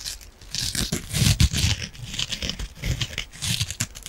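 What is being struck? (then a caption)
Foam kitchen sponge with scouring pad. Long nails scratch the green scouring pad side of a palm-sized yellow foam kitchen sponge and pinch its foam. The result is a continuous, dense scratchy crinkling, with bright hissy rasps over soft low thuds that swell and fade in waves.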